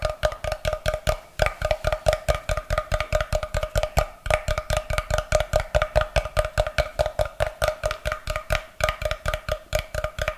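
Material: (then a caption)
Wood. A solid block of light, unfinished wood held close to the mic is tapped and rubbed with fingernails, producing a steady run of about 51 quick, dry, hollow knocks. Each knock has a soft low thump and a short woody tone around 625 Hz that dies away almost instantly. The knocks come at a brisk, slightly uneven pace, with faint scratchy rubbing between them.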